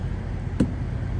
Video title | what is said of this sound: How We Do Our Pre Trip Inspection│ EXAM Transport BioPharma | Should all sound the same, and you should get a little bit of a bounce back on the tire knocker.